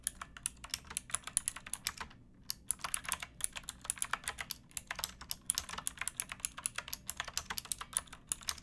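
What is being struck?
Plastic mechanical keyboard.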